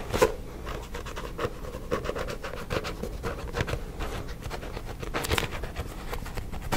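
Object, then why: Paperback book with glossy card cover. A paperback book is held upright beside the microphone while a fingertip and nail scratch and tap its glossy front cover. Soft, close scratching runs throughout with short, dry taps mixed in, each dying away almost at once. The sound has a muffled body with faint bright edges on the strokes.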